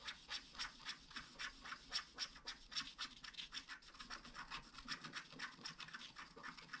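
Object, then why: Wax-coated scratch art card scratched with a wooden stylus. A wooden stylus scratches the mane into a flat black scratch art card of wax-coated paper. It makes a quiet, rapid series of short, dry, bright scraping strokes, about four per second in an uneven rhythm, with little low end.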